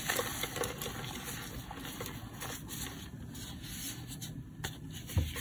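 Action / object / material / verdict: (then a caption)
scrape / block of dried cornstarch paste / cornstarch / none. A hand-sized, solid, bumpy block of dried cornstarch paste (reformed gym chalk), coated in yellow and blue paint, is pressed, squeezed and rubbed by fingertips and thumbs. Its crusty surface gives a steady low rubbing crunch with small crackles, ending in a louder crunch near the end.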